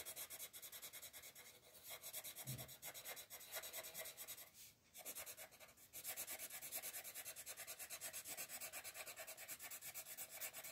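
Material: Paper.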